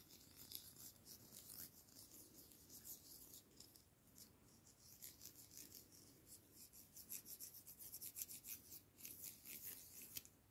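A pair of thin, solid wooden chopsticks, held one in each hand, are rubbed and scraped against each other. The result is a quiet, dry, bright rasping made of short scratchy strokes, with almost no low end and no ring after each stroke.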